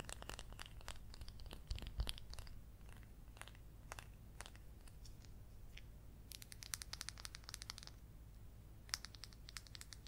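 Long yellow acrylic nails scratch and tap the textured peel of a small whole mandarin or clementine. Quiet, rapid, bright clicks and scratches come in clustered bursts over a steady low hum, each one dying away almost instantly.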